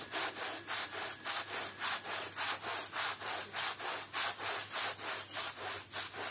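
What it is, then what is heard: Woven rug being scrubbed. A long-handled stiff bristle push brush scrubs back and forth over a flat, thin, patterned woven textile rug lying on a wet, muddy outdoor floor with muddy water and soap. The steady, rhythmic strokes come at about 103 per minute, each a bright, hissy rasp with a faint low hum underneath throughout.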